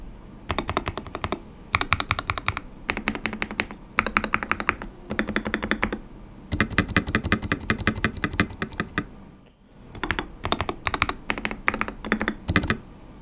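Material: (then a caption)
Polycarbonate. Fingertips type and tap on a white RK100 / RK860 mechanical keyboard with KTT Kang White linear switches and transparent polycarbonate keycaps, resting on a desk mat and recorded on a Maono mic. Bursts of fast, short, crisp clacks with bright, clicky tops and a soft low thock come in runs separated by brief pauses.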